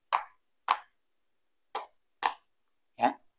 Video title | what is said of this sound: TIPS MEMILIH DURIAN LOKAL | seperti ada ruang kosong di dalam itu ya Ada ada celah di dalam itu suaranya Bu Bu Bu dan tidak e terdengar nyaring